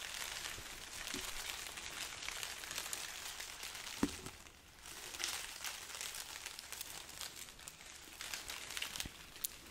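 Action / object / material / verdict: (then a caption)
scrape / strand of dried chili peppers on string / dried pepper skin / none. A long strand of dried red chili peppers tied on string, hollow, dry and papery, is held up and rubbed and scratched with long nails. A steady, bright crinkling and crackling runs throughout, with a sharp tap near the four-second mark and a brief quieter dip just after.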